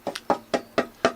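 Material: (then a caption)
Wood. The carved wooden front of an archtop jazz guitar, being thinned to about 4–5 mm, is tapped six times. Each tap gives a short, woody knock with a clear tone around 670 Hz that dies away quickly. The top is now tapping better, resonating more as the wood gets thinner.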